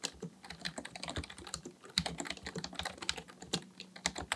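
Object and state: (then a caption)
Plastic computer keyboard. Both hands type steadily on a black plastic full-size computer keyboard resting on a desk, fingertips tapping the plastic keys. A quick, uneven run of short, bright clicks sounds, each with a soft low thud and almost no ring.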